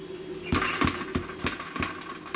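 Seven taps on the bottom of a freshly baked white-flour sourdough loaf give short, dull, hollow knocks with a low-mid body, each fading quickly over a faint steady background hum. The hollow sound shows the loaf is baked through and ready.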